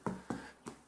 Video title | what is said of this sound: Farklı Su Oranları ile Ekşi Mayalı Ekmek Yapmak / Making Sourdough Bread with Different Water Rates. | es klingt nicht sehr laut. Es hat einen schönen Klang